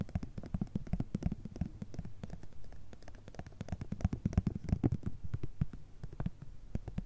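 Long red nails rapidly tap and scratch a small, flat, filled plastic and foil cosmetic cream sample sachet. The result is a dense stream of soft, dry, muffled taps with a low, thumpy body and very short decay, mixed with light scratching.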